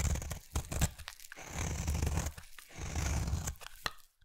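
A utility knife blade carves a solid round peach bar soap into thin shavings. Heavy, low crunching and tearing scrapes swell and fade in long strokes, broken by short sharp clicks as the blade cuts through. The sound ends in near silence.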